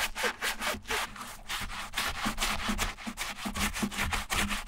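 A small wooden-handled bristle brush scrubs the light leather insole, backed with foam, inside a silver Repetto ballet flat. Rapid back-and-forth strokes make a steady, bright, scratchy rubbing sound with a faint low hum underneath.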